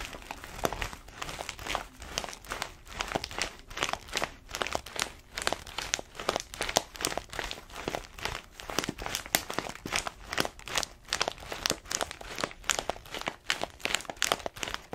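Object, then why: Paper-foil bag of coffee beans. An orange paper-foil coffee bag full of beans, held horizontally, is scratched and squeezed with long nails, crinkling the paper. The result is a steady stream of dense, bright crinkles and crackles in quick, dry bursts with very little low end.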